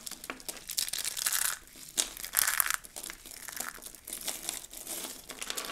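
Hands grab and crush handfuls of dry, rolled soap curls and their fragments, giving a dense, bright crinkling crunch with sharp crackles and no low end. Louder bursts of crushing rise around one and two and a half seconds, then settle into lighter, scattered crackling.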